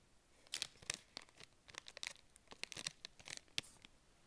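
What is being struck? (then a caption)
Granola bar in a plastic wrapper. A KIND peanut butter dark chocolate granola bar, small and solid and still in its clear and printed plastic wrapper, is held in both hands with long painted nails and handled and squeezed. About fifteen quiet, sharp, bright crinkles and crackles sound from the wrapper in quick irregular bursts, each dying away almost at once, with very little low end.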